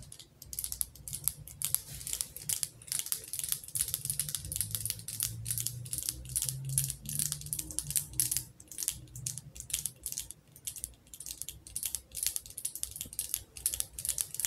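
Long acrylic nails tap and scratch around the glass body of a wax-filled glass jar candle. Rapid, dry, bright clicks and scratchy strokes run continuously, each tap dying out instantly, over a faint low rumble.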